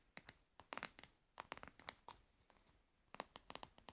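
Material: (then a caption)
Plastic. A plastic cosmetic pad jar is turned over in the hands while long nails tap and scratch its frosted plastic bottom and side. Quiet, sharp, dry clicks come in quick clusters with bright crackly edges and almost no low end, separated by soft scratching.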